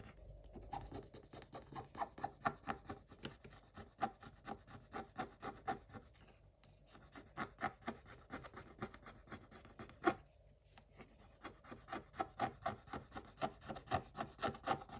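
A wooden stick scratches a coated scratch-off paper page in a spiral-bound book. Quiet, dry rasping strokes come about two per second in uneven bursts, with short pauses around the 6-second and 10-second marks and one sharper scrape near 10 seconds.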